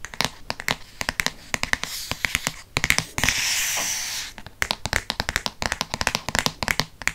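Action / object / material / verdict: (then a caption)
tap / paper-covered hardcover book / paperboard / none. Fingertips quickly tap the paper-covered board front cover of a Harry Potter hardcover book held near the microphone. Dozens of short, dry, bright taps come in rapid bursts, with little low end. The tapping is broken by two stretches of steady, hissy brushing noise, around the middle of the clip.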